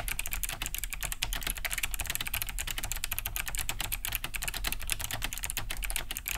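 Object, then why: Plastic mechanical keyboard. Fast two-handed typing with the fingertips on a large beige Cherry G80-3000 mechanical keyboard fitted with Kailh BOX White switches, with a hollow plastic case and thick plastic keycaps, resting on a wooden desk. A dense, continuous stream of bright, clicky key-switch taps rides over a low, hollow thump from the casing.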